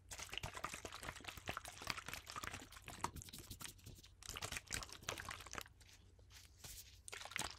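A clear plastic water bottle with a blue screw cap, partly filled with water, is held in gloved hands and shaken so the water sloshes inside. Bright, crackling splashes and plastic rustles come in quick bursts, dipping briefly quieter near the six-second mark before picking up again.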